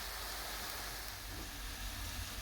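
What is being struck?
Nothing is struck.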